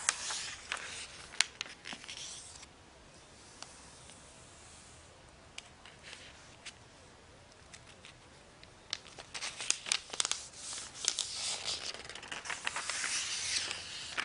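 Fingertips with long painted nails slide over the pages of an open glossy paper magazine lying on a bed sheet, lifting them to flip. The thin paper sheets rub and rustle in bright, crisp bursts with sharp nail clicks, quieting to soft brushing through the middle before growing denser and louder at the end.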